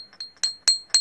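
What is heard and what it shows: A real jade stone is tapped four times. Each tap gives a sharp, bright, metal-like ring at a steady high pitch that fades quickly, with two softer taps between the louder ones. The clear, high ring marks the stone as genuine jade.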